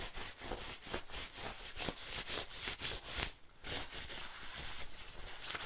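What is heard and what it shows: Fingertips and nails scratch and rub the shiny nylon on the shoulder and chest of an olive-green padded nylon bomber jacket worn on the body. A steady, bright, scratchy rustle pulses in quick irregular strokes, with a brief lull midway before the rubbing resumes.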